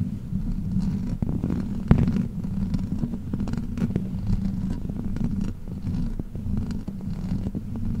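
Long black plastic fake nails on both hands scratch and tap a metal mesh microphone grille. The result is a steady, muffled low rumbling scrape dominated by deep bass, dotted with short, sharp taps, including one loud click around two seconds in.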